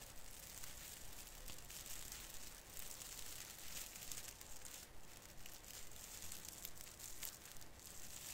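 Fingers grip and rub the branch ends of a small artificial fir Christmas tree with plastic needles. They make a steady, quiet crinkling and rustling with bright, crackly texture over a low rumble throughout.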